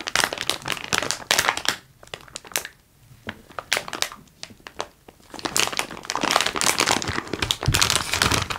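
A medium-size clear plastic bag full of wax-paper-wrapped taffy pieces is held in both hands, handled, and crinkled and squeezed with fingers and palms. Bright, dense crinkling and crackling comes in bursts, with quieter pauses of soft rustling in between. A long stretch of steady crinkling follows.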